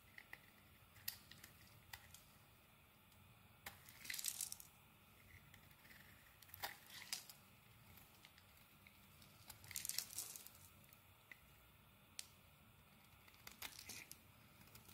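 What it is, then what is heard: Bar of soap being scraped. A utility knife blade scrapes flakes off a solid rectangular black soap bar held in the hand. Quiet, bright, crisp scraping and crinkling bursts come in short irregular strokes, separated by soft near-silent pauses.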